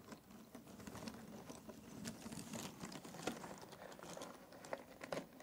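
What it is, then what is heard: Cardboard jigsaw puzzle pieces. Fingertips rake across a pile of loose, thin cardboard jigsaw puzzle pieces in an open box. The result is a quiet, steady patter of light clicks and dry rustling, with a few sharper, brighter taps standing out from the shuffling.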